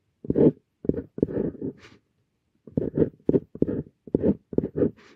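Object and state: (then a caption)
Paper scratched by steel dip pen nib. A stainless steel dip pen nib scratches and strokes across a flat paper sheet while writing characters, making short rasping strokes. The strokes come in two clusters separated by a brief pause near the middle, with a few brighter, higher scratches at the ends of strokes.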